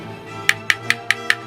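The plastic base of a Hot Wheels VW Jetta die-cast toy car is knocked five times at an even pace. Each knock is a short, light, bright click with a hollow ring around 1.8 kHz that dies away almost at once, over a quiet steady background tone. The thin, clicky sound confirms the base is plastic rather than metal.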